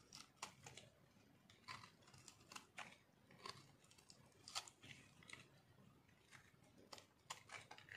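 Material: Soap.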